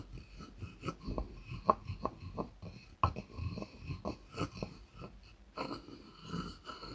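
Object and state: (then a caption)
Wooden mortar and pestle. A wooden pestle rubs and knocks inside a light, hollow wooden mortar. Soft, uneven scraping is broken by irregular hollow wooden knocks, with a couple of sharper, brighter clacks near the middle that carry a brief woody ring.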